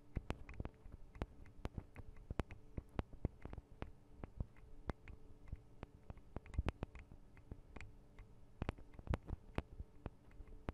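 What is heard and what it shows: Long acrylic nail tips tap rapidly on the tops of the two small, hollow metal and plastic microphone capsules of a Tascam DR-40 recorder. The result is a quiet, irregular patter of sharp, dry clicks with almost no ring, each carrying a soft, low, hollow thump.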